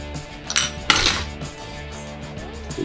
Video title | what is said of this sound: Cooler master elite130, Star trek Borg inspired case mod. Part 4 | It sounds like metal. But some of these are plastic